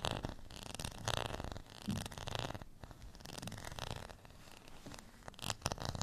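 Fingernails scratch across the ridged face of a beige textured plastic rice paddle held in the hand. The result is a quiet, close, dry rasping in repeated zipper-like strokes, with a bright, gritty edge over a soft low rumble.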